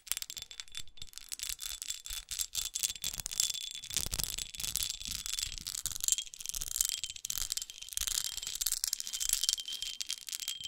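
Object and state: Textured glass perfume bottle scratched and tapped with nails.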